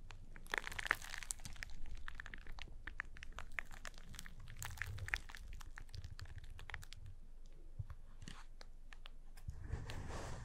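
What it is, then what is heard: Cardboard box. Fingertips press and tap on the top face of a small, hollow, closed cardboard box with a paper label marked "PURE WHITE" and arrows. The result is a steady run of quiet, dry crinkling and crunching with sharp, bright clicks that stop instantly, over a soft low rumble.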